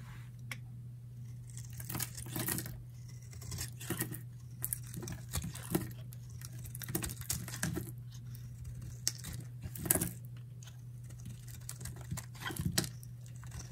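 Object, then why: Bar of soap cut with a metal blade. A metal utility knife blade carves and scrapes crumbly shavings off a solid, dry, palm-sized purple Dial bar soap held in one hand with long nails. Short, dry, bright scratching and crackling bursts come in irregular clusters over a steady low hum, with no ring after each cut.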